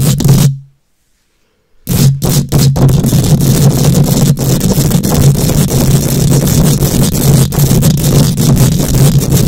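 Long nails scratch and tap against a bare steel mesh microphone grille, making a dense, boomy, low-heavy rasping with a steady low drone underneath. The sound cuts out briefly near the start, then resumes as continuous scraping broken by sharp, clicky taps.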